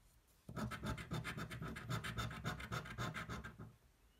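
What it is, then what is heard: Scratch-off lottery ticket being scratched. The edge of a coin scratches a thin, flat cardboard scratch-off lottery ticket held flat on a table. Quick, rhythmic back-and-forth scraping strokes begin after a moment of quiet and run steadily for about three seconds. They make a gritty, bright rasp over a low rubbing undertone, then stop.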